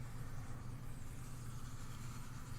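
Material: Nothing is struck.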